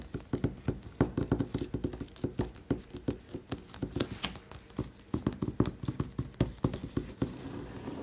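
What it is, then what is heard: Hardcover book cover tapped. Fingertips and short nails tap and trace the glossy printed front cover of a closed, large, thick hardcover art book with a paper-covered cardboard cover, lying flat on a white table. Both hands make a quick, irregular series of soft, dull, low taps that die away almost instantly, with faint scratchy tracing between them.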